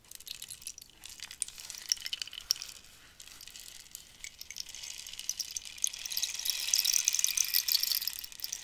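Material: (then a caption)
Cactus wood. A long, hollow cactus-wood rainstick is tilted and turned by hand, and the filling inside trickles and rattles. It makes a steady, bright, high patter of tiny dry ticks with almost no low end. The patter dips briefly near the three-second mark, then swells louder and denser toward the end.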